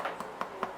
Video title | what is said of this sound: FRENCH STICKS RECIPE | that sounds hollow that means they're ready